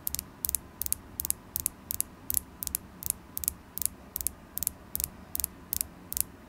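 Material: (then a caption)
Carnelian. Long glittery acrylic nails tap a solid, polished carnelian stone tower point with a faceted tip. The taps come as quick, bright, dry clicks, often in close pairs, at a steady pace. They die away instantly with no ring, over a faint low background hum.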